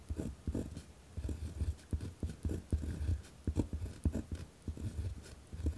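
A pen tip scratches steadily across a white lined paper pad resting on a wooden desk while writing. The strokes come as short, dull, low-heavy scratches in irregular bursts with brief pauses between them, with almost no bright edge and no ring.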